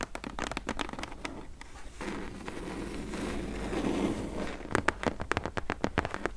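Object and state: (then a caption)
Cardboard box. Long acrylic press-on nails tap and scratch the sides and corner of a medium, closed, hollow corrugated cardboard H&M shipping box whose contents are not visible. Quick, dry, hollow taps come first, then a steady, soft scraping rasp across the cardboard. A burst of sharp, clicky taps follows at the end.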